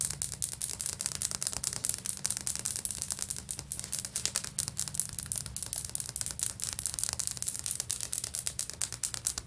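Long natural nails and fingertips of both hands scratch and tap across large stone-pattern ceramic floor tiles with grout lines and a solid surface. A steady stream of quick, bright, dry scratches and clicks fills the clip, with no lingering ring, over a faint low hum.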